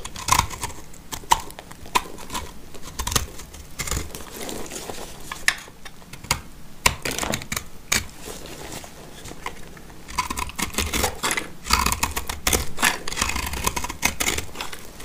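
A black utility knife blade scrapes crumbly shavings from a dry, solid, peach-colored oval soap bar held in the hand. Many short, dry, crackly scrapes and crumbling sounds run throughout, with bright high edges and a faint tone near 950 Hz. There is a quieter stretch in the middle before denser scraping resumes.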